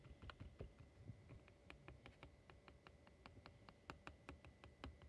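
Fingertips and nails tap and scratch across the glass front of a small silver-edged picture frame holding postcards, lying flat. A quiet, rapid string of short, dry clicks with bright ticks sits over a soft low rumble, each tap dying away almost instantly.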